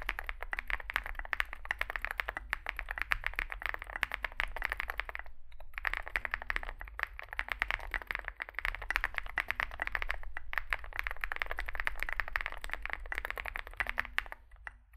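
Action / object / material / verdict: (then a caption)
tap / mechanical keyboard with plastic keycaps / plastic / none. Fingertips type continuously on a small Zoom65 65% mechanical keyboard with a dark case and white and grey plastic keycaps. The result is a dense stream of short, crisp clacks centered in the upper mids, with brief pauses near 5.5 and 10.5 seconds, over a steady low hum.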